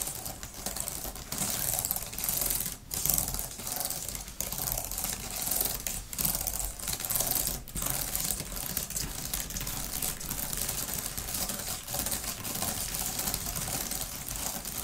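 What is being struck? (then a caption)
Thin plastic laptop keyboard cover. Long-nailed fingers type on and press individual flat plastic keys of a grey, thin type-cover plastic laptop keyboard cover. A dense, steady stream of bright, crisp clicks and taps plays with short, dry decay and a few brief dips in the rhythm.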